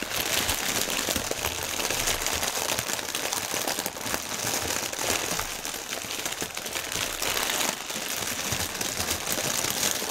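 A thin, clear plastic air-cushion packaging strip, partly deflated, is rubbed and pressed with fingertips and nails. The result is a dense, continuous bright crinkling and crackling across the whole clip, with little low end.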